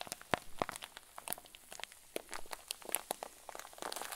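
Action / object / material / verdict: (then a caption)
shake / plastic zip bag filled with fluffy filling / plastic / none. A clear, hand-sized plastic zip bag stuffed with white fluffy filling is squeezed and crumpled with both hands over a wooden table. It gives a dense run of sharp, bright crinkles and crackles, with a few louder snaps early on. Soft rustling fills the gaps between them.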